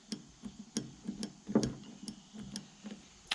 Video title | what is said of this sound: Massey Ferguson 1140 and a homemade winch | that stud there and the stud on the other side was what was making that rattling noise. Those are not supposed to be loose